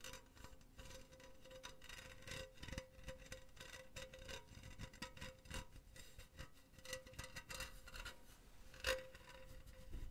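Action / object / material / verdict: scrape / metal mesh pen holder / metal mesh / none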